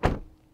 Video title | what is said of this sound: One of the COOLEST Pickups you can buy right now! | Son de porte fermée de l'extérieur